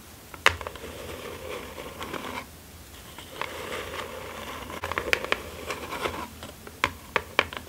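Long acrylic nails scratch and tap the top and sides of a small, closed, hollow kraft cardboard mailer box lying flat on satin fabric. Dry, papery scratching runs in bursts with a brief quiet pause partway through, broken by sharp, bright taps that die away almost instantly.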